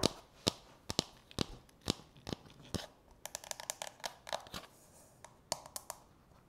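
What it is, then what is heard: Plastic bowl tapped with fingernails. Long natural fingernails tap and scratch the outer wall and rim of a medium-size, hollow, frosted translucent plastic manicure bowl that rests, apparently empty, on a countertop. About 21 sharp, bright clicks come in an irregular rhythm, some in quick clusters. Each dies almost instantly, with faint scratchy rustling between them.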